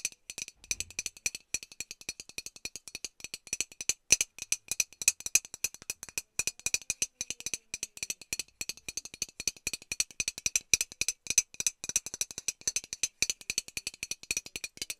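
A hollow metal Lynx aerosol deodorant can is held up and tapped on its side with long nails. Quick, quiet, irregular clicks come in a steady stream, each bright and high with almost no low end. The taps die away at once, with no ringing.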